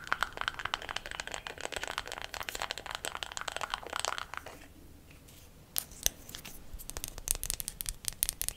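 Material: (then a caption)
Wood. Long black nails tap quickly on a closed, small, round, light wooden makeup compact. A dense run of bright, dry clicks lasts about four and a half seconds, then goes quiet for about a second. Sharper, more spaced-out taps follow to the end.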